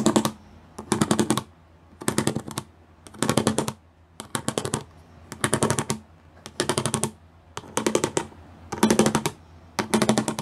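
Fingertips and long nails tap and drum rapidly across a gray plastic sheet with raised square pyramid studs. About ten short bursts of fast, clicky tapping, roughly one per second, are separated by brief quiet pauses. Each burst has a bright, dry plastic rattle over a low hollow tone.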